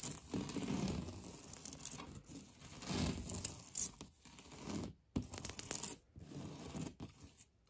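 Fingertips and nails scratch and rub across a solid, beige, knockdown-textured painted drywall interior wall. The result is a dry, rasping scrape with a tearing quality, heard in long continuous strokes with brief silent pauses near the end.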